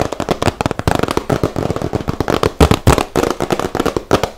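A small, hollow, rectangular yellow cardboard gift box is held in both hands and tapped and scratched with fingertips and nails. The result is a rapid, irregular stream of dry, crackly taps with short, dull knocks and bright scratching between them.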